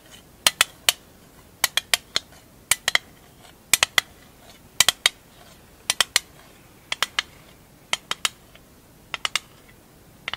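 Long acrylic nails tap and scratch the lid and edges of a small, hollow, rectangular printed metal marbles tin. Twenty-eight sharp, bright clicks land in quick clusters of two or three, each dying away almost at once over a faint, steady background hiss.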